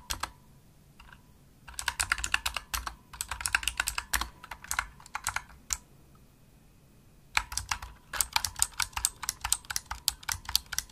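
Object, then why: Plastic mechanical keyboard. Fingertips with medium nails type fast on a pink full-size plastic mechanical gaming keyboard, a Razer Huntsman with hollow-shelled keys and RGB backlight, producing bright, sharp clicky keystrokes over faint low thumps. A few strokes open the clip, then a dense run of typing lasts about four seconds, a quiet pause follows, and a second rapid burst of clicks carries through to the end.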